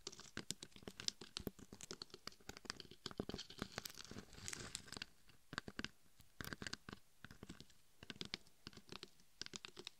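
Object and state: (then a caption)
Glitter-coated dummy head being scratched. Long nails scratch over the glitter-covered surface of a red and gold glitter-coated dummy head microphone, moving across the top and sides while a forearm rests on top. Dense, dry scratching and crackling fills the clip with many quick, bright ticks and no ring, easing briefly around the middle before picking up again.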